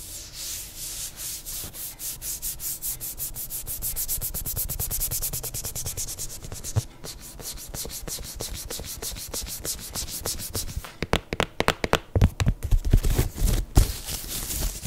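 Long nails rapidly rub and scratch the suede upper and rubber sole of an empty black suede sneaker, making a steady, even brushing of about four strokes per second. After about 11 seconds the scratching turns sharper and more uneven, with louder, distinct clicks toward the end.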